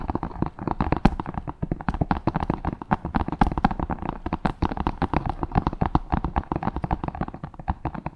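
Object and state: Wooden cutting board.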